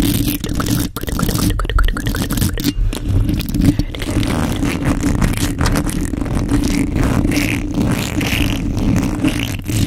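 Long pointed nails tap and scratch the bare white metal mesh grille of a large microphone in fast, repeated strokes. The result is a dense, steady stream of close scraping and tapping, heavy in low rumbling tones with a hum-like band near 290 Hz and brief bright streaks from the nails.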